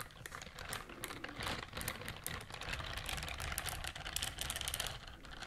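Long nails scratch rapidly across the bristles of a pink silicone scrubber glove. The result is a dense, continuous stream of crisp, bright clicking and scratching that sounds much like fast typing, with a low underlying rumble throughout.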